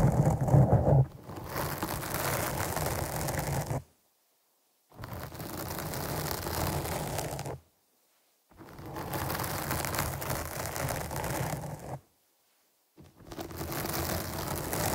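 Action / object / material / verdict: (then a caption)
scrape / foam microphone windscreen / foam / none. Long nails on both hands scratch a black foam windscreen on a microphone, making a dense, rustling scratch heavy in low rumble with a brief louder burst at the start. The scratching comes in four stretches separated by short silences.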